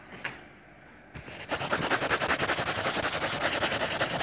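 A yellow crayon, held in fingertips with pink nails, is rubbed back and forth in hatching strokes to color a circle on the page of an open lined paper notebook lying flat. After a near-silent start with a faint tick and a brief scrape, a steady, rapid rhythm of dry, bright, papery scratching strokes continues to the end.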